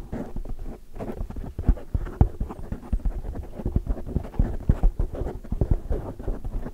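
Long, dark, metallic-painted fingernails rapidly tap and scratch the sides of a large oval black windscreen of soft, porous foam on a microphone. The result is a dense run of muffled, deep thumps and soft scratching rustles, heavy in the low end with almost no high sound, each tap dying away instantly.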